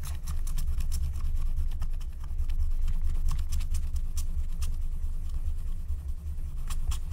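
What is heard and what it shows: A wooden stylus scratches a flat, thin, black wax-coated paper scratch-art card lying on a table in quick, short strokes, while the other hand with long nails rests nearby. Bright, raspy scratch ticks repeat over a steady, strong low rumble that stays at a fairly constant level throughout.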